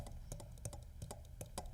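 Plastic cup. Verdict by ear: Not glass.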